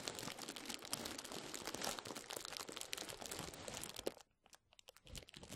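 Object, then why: Plastic bubble wrap. A roll of clear plastic bubble wrap is held over the mic and rubbed and squeezed by the fingertips of both hands. It makes dense, bright crinkling and crackling for about four seconds. The sound then drops almost to silence, leaving a few sparse crackles near the end.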